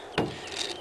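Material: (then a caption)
Plastic. A tap on the all-plastic stock of a vintage air rifle gives a short, hollow knock with a quick decay. The stock sounds thick rather than cheap, and is probably solid plastic.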